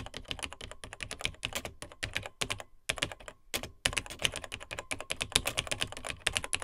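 Fingertips of both hands type on the dark plastic keys of a beige plastic vintage portable computer, a Tandy TRS-80 Model 100. Rapid, bright, short plastic clicks and clacks run in quick bursts, with brief pauses around the three-second mark before the typing picks up again.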